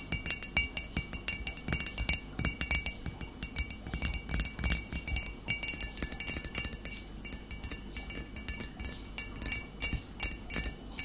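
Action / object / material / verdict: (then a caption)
tap / glass bottle / glass / none. Fingernails tap steadily on a glass bottle, producing a rapid, continuous run of bright, high clinks. Each tap rings only briefly, with a faint constant tone underneath.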